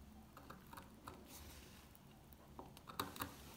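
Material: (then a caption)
Soap. A solid, dry, dark green old soap bar has its top scratched and scraped with a metal pick, giving soft, scattered crunchy scrapes and light ticks over a quiet background hum. A few sharper, brighter clicks near the end stand out from the rest.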